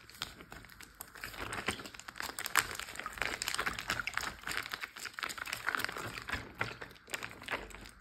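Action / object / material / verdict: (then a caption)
tap / plastic zip bag filled with water / plastic / none. Fingertips tap and fingernails scratch on a large clear plastic Ziploc bag full of water. The result is a dense run of quick, crinkly ticks and scrapes, brightest around 1 to 2 kHz with little low end. Each contact dies away almost instantly, with no ring.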